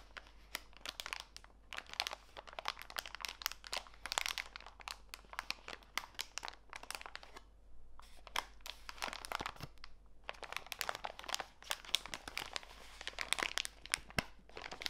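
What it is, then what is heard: Plastic packet of walnut pieces. A small clear plastic bag full of walnut pieces is rubbed and squeezed by fingertips with long nails, crinkling the plastic and crunching the nuts inside. The sound is a dense run of quiet, bright, dry crackles and crunches with almost no ring, pausing briefly near 7.5 and 10 seconds before continuing.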